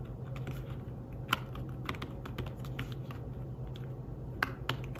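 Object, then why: Fabric-covered tablet keyboard. Fingertips type in fast bursts on a thin, flat, grey fabric-covered folio keyboard for a tablet. Soft, muffled, quick-decaying taps patter over a steady low hum, with a few sharper, brighter clicks standing out.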